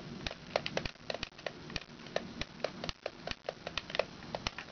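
Long red nails tap quickly and irregularly on the base, wheels and neck of a hollow yellow plastic giraffe push toy. The taps are sharp, dry plastic clicks with a hollow mid tone and a bright top. Each dies away almost at once over a faint, steady background rustle.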